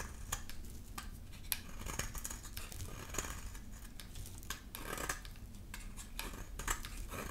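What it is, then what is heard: Dry bar soap being shaved. A solid, dry yellow bar of soap held in the hand is shaved into curls with a utility knife blade. The result is a steady series of crisp, bright scraping and cutting strokes over a low, soft background rumble.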